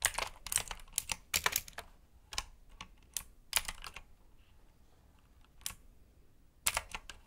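Fingertips of both hands type on a black, backlit mechanical keyboard with blue switches and plastic keycaps resting on a desk mat. Sharp, bright, clicky keystrokes come in quick clusters separated by short pauses, each click dying away almost instantly.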